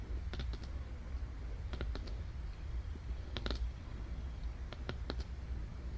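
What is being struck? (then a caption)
Thick glossy cardboard book page. Long dark nails tap and scratch on the illustration of an open cardboard board book with solid, thick, glossy pages, still on the same spread, while the other hand rests on the right page. Short, bright clicking taps come in small clusters over a steady low hum, each dying away almost instantly.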